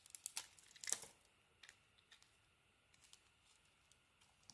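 A solid white bar of soap, mostly bare now, is carved and scraped with a small metal blade beside a pile of shavings. A burst of bright, crisp scraping and crumbling comes in the first second, then sparse quiet ticks and scratches follow at irregular intervals.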